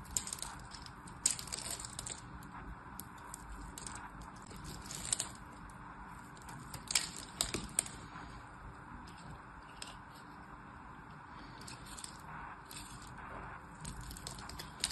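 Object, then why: Soap bar. A solid orange and white striped soap bar is held in the hand while a blade scores and cuts diagonal lines into its surface. Soft, crisp scraping and crunching sounds repeat throughout, with sharp bright clicks and snaps standing out at several moments. The scratchy texture sits mostly in the high range over a low, steady background.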